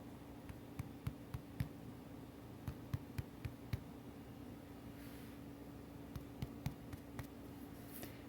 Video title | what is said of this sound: Beginners: Learn Step by Step how to make your own homemade bread! | you just take a couple fingers and you just tap the center, the bottom. You just kind of want to hear a hollow sound.